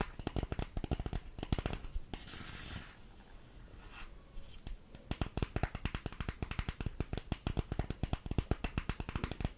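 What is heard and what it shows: A small, hollow printed cardboard makeup box is held in both hands and tapped with long nails, giving rapid, dull, low-heavy knocks with almost no ring. Midway the nails scratch across the box in a soft, brushy hiss before the quick tapping resumes to the end.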